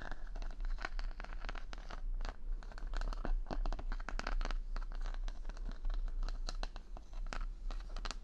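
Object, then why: Wooden paddle hairbrush with wooden pins. Fingers brush and scratch the wooden pin bristles of a wooden paddle brush set in a cushion pad, held close to the microphone. The result is a dense run of quick, dry clicks and crackly scratches, like crinkling or tearing, over a steady low hum.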